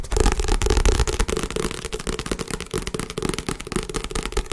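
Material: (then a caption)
Paper. Fast tapping on a book belonging to the tapper's girlfriend produces a rapid, uneven run of dull, low thuds. Each tap is short and dies away almost immediately, with a faint crackly edge.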